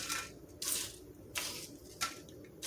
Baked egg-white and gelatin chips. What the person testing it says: you can hear how crispy they are